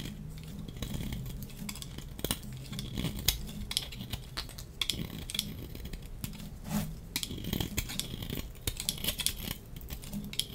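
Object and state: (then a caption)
Dry soap bar shaved with a blade. A solid, dry pink striped soap bar held in the hand is scraped and shaved with a metal box-cutter blade. Dense, crisp scraping and shaving strokes come in quick succession, with bright, gritty edges over a soft low rumble. Each stroke is short, dry and dead with no ring.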